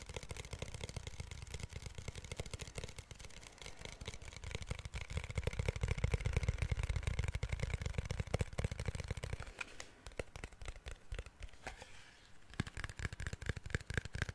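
Fingertips tap rapidly and unevenly on a protective case made of glass, producing a dense stream of short, dry clicks with a soft low thump beneath. Around the midpoint the low thumping drops away, leaving lighter, brighter taps that continue to the end.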